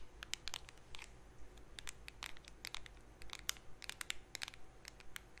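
Long painted nails scratch and tap the lid and rim of a small, round, closed blue metal Nivea cream tin held in both hands close to the mic. The result is a quiet, uneven stream of sharp, bright clicks and short crisp scratches, with no ring after each touch.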